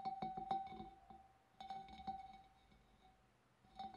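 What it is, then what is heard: Glass fish bowl tapped with fingernails. Long dark nails tap the wavy rim of a large, empty, hollow clear glass fish bowl in quick clusters of light clicks. Each tap sets off a steady glassy ringing tone near 780 Hz that hangs briefly between the bursts, with a fainter bright shimmer above it.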